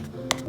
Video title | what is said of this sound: Beli iPhone bekas garansi iBox - iPhone 11 Pro 2024 | kalau kita e ketok-ketok seperti ini kita pukul-pukul seperti ini ini tuh padat